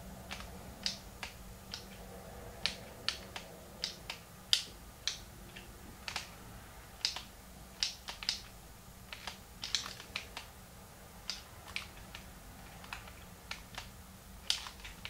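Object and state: Plastic handheld game console, button clicks.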